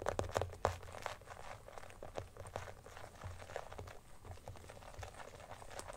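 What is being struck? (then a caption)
Clear plastic phone case. Fingers and nails scratch and tap an empty, transparent teal glitter plastic phone case, first as it lies on a blanket and then while it is held up. Quiet, dry clicks and crinkly scratching sounds come in an uneven stream over a low rumble, with the sharpest taps near the start.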